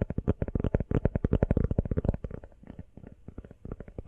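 Long nails tap rapidly on a small, hollow, empty teal rubber phone case, giving a fast, uneven run of about two dozen short, dull, low thuds with almost no ring. The tapping softens midway, then picks back up toward the end.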